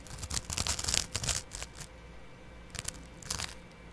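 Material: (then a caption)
Abrasive fibre. A small double-edge razor blade, held in the fingertips, scratches across the dark green abrasive scouring layer of a dry, hand-sized kitchen sponge with soft yellow foam, held in one hand close to a microphone. Bright, raspy, crackling scrape strokes come in a quick irregular run, pause briefly in a quiet gap, then resume in a few more short rough bursts.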